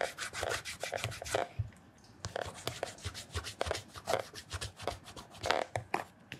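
Bare fingertips rub and smooth the polished upper of a black leather loafer lying on its side with a wooden shoe tree. A quick run of short, dry, bright rubbing strokes is heard, then a brief near-silent pause, then the rhythmic rubbing resumes.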